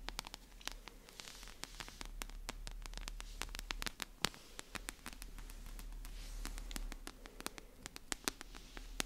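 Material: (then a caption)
Paper, card. A solid paper paperback book with a glossy card cover is held in hands close to the mic while long nails tap and scratch its cover and edges. Dozens of crisp, dry, bright taps with almost no ring sit over a soft papery scratching and a steady low hum.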